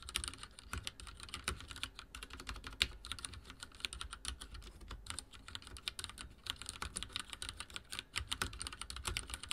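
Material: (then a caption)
Plastic. Rapid typing with the fingertips of both hands on a full-size backlit mechanical keyboard with dark plastic keycaps and linear switches, resting on a wooden desk. It makes a steady, dense stream of short, bright plastic clacks with quick decay and a low thump under each press.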